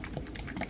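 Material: Plastic.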